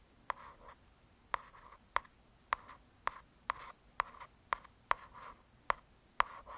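Long nails scratch and trace slowly over the glossy printed cover of a solid hardcover "True Crime" paper book. Eleven sharp, crisp clicks sound, each followed by a short, soft scratchy rustle centered in the midrange. The sound is quiet and close, with almost no ring or low end.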